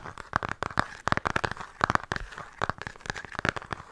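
A flat, rectangular, hollow cardboard-covered eyeshadow palette, held upright, is tapped and scratched quickly with long painted nails. The result is a rapid run of short, dry, crisp clicks with a crinkly, papery edge, each dying away almost instantly.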